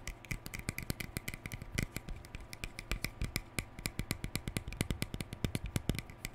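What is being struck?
Plastic hair brush.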